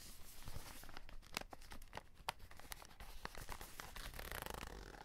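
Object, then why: Cardboard box with clear plastic window. A full cardboard chocolate box with a clear plastic window is held close while fingertips scratch and crinkle the plastic window and the cardboard edge. The result is a quiet, continuous run of short, dry scratches and crisp crackles with a few brighter clicks, swelling into denser crinkling near the end.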